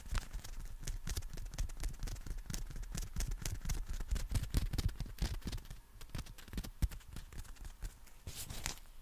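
Fingertips tap and scratch along the folded nylon canopy of a compact black umbrella with a plastic handle and wrist strap. Quick, irregular soft taps give dull low thumps with short, bright fabric crackles and scratches over them. The tapping eases slightly past the middle, then picks up again near the end.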